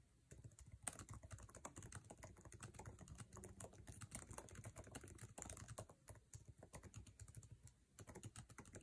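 A MacBook Air laptop keyboard, with plastic keycaps in an aluminum chassis, is typed on fast with fingertips. The result is a dense, steady stream of quick, dry key clicks with a low thump beneath and brief bright ticks. Each tap dies away almost at once.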